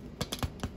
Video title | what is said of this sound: Tutorial How you can make french Crusty bread great for sandwich | if you hear the hollow sound that is ready